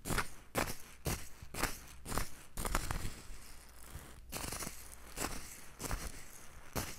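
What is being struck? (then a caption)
Mustard seeds in a small wooden bowl. Loose yellow mustard seeds in a small, light wooden bowl are tilted and shaken close to the microphone by long, lilac-nailed hands, so the seeds roll and rustle against the wood. The result is a series of quick, bright, grainy rattling bursts, roughly two per second but unevenly spaced, over a soft low rumble.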